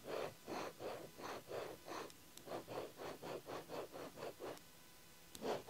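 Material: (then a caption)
Paper. A ballpoint pen tip scratches lines across an open paper diary page, making a steady run of short, dry, raspy strokes centered in the low midrange with a faint bright edge. After a brief quiet pause, one final stroke closes the clip.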